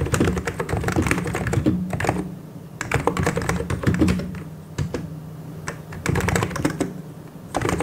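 A full-size mechanical keyboard with white and grey plastic keycaps and hollow key switches is typed on continuously with the fingertips of both hands. Bursts of quick clacking keystrokes come with brief pauses between them. The sound is dull and low-heavy, with short taps that die away almost at once.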